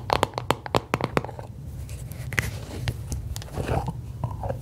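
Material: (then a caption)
Aluminium. Long acrylic nails tap and scratch the lid and sides of a small, round, blue aluminium Nivea creme tin, presumably filled with cream, held in both hands. A quick run of sharp, dry clicks with bright ticks comes first, then softer, continuous scratching and rubbing over a low background hum, with a few more isolated taps.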